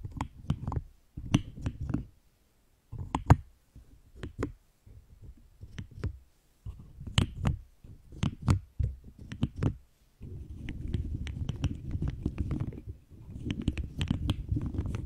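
Long green acrylic nails tap, knock and scratch across the hard plastic keycaps of a pastel plastic keycap cube with a hollow-looking frame. Bursts of quick, dry clicks and knocks with a deep hollow thump come first. The last third is a steady, rough scratching rattle.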